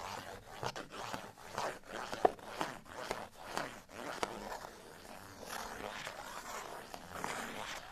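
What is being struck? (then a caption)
Folded cardstock tag. A folded cardstock bottle tag is held and then laid flat while fingernails scratch across it. Quiet, dry scratching comes in a series of short, rhythmic strokes, with a few sharp clicks early on. It then settles into a steadier, softer rasp centered in the midrange.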